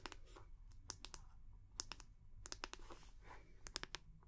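The round, solid wooden back of a hair brush is held in both hands and tapped and scratched with long nails. About fifteen sharp, bright clicking taps ring out unevenly, with soft scratchy rasps between them over a faint low rumble. The taps are dry and stop almost instantly.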